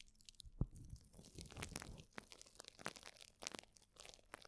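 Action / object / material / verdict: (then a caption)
scrape / plastic bubble wrap sheet / plastic / none. A plastic bubble wrap sheet is held around a microphone with both hands while nails scratch and fingers crinkle the bubbles. Soft, close crunching and crackling comes in dense clusters with sharp bright clicks, and one louder thump stands out near the start. It stays quiet overall, with dry, short sounds that stop without ringing.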